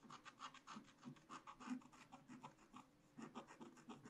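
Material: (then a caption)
Coated paper. A wooden stylus scratches continuous strokes into a black-coated scratch-art card bound in a spiral book. Quick, dry rasping strokes come one after another, each with a soft low-mid body and a bright scratchy hiss. There is a brief lull near the three-second mark before the scratching resumes.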